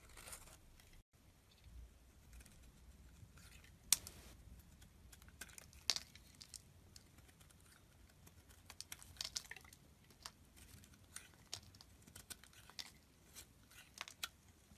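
A box-cutter blade scrapes and cuts curls off the face of a solid blue rectangular Blackberry olive oil bar soap held in the palm. It makes quiet, bright, crisp scraping with irregular sharp little clicks and crackles, and there is almost no low end.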